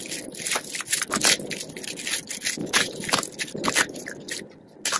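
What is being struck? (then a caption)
Soap curls and flakes. Purple and green dry soap flakes and curls on a dark surface are squeezed in a fist and crumbled between fingers. The result is a dense, bright, crisp crackling and crunching that swells into several louder bursts, with almost no low end.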